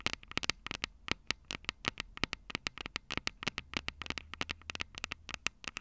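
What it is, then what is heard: Metal mesh microphone capsules tapped with fingernails. Long purple acrylic nails tap and scratch the two small crossed metal mesh microphone capsules on the hollow plastic body of a Tascam DR-05 handheld recorder. About 34 quick, dry, bright clicks come in an irregular run, each dying away almost at once, with soft scratchy rustle between them.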